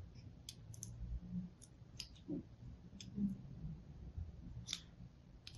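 A fine blade tip scores lines into the face of a hand-held, solid pink and white striped soap bar. It makes a scattered series of short, bright, crisp clicks and scratchy ticks over a steady low hum, each dying away almost instantly.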